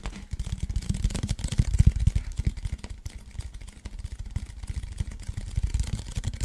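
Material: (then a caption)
Cardboard. Fingertips and nails tap and scratch the printed side of a hollow cardboard Pringles chip can held in both hands. The result is a rapid, irregular stream of dull, boomy thumps with very short decay, lightly overlaid with faint high scratching.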